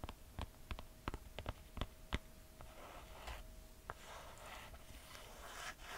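A red two-buckle sandal with a brown leather and cork footbed is held in hand while long nails tap and scratch its footbed and straps. About ten sharp, dry taps come first, then softer, hissing scratches, with a faint steady hum underneath.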